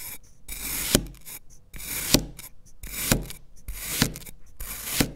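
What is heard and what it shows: A black knife slices and scrapes through a solid green kinetic sand fish mold with a criss-cross cut pattern. Gritty, broadband rasping strokes each end in a short, sharp tick. Five distinct hits fall about a second apart.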